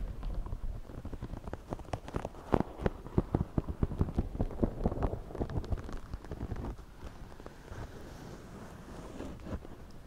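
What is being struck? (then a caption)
Woven straw hat. Fingertips of both hands scratch and rub the crown of a white wide-brim woven straw floppy hat worn on the head. The result is a dense, dry crackle of quick, sharp ticks and scrapes, heaviest in the first seven seconds. It then eases into a softer, steady rustling rub.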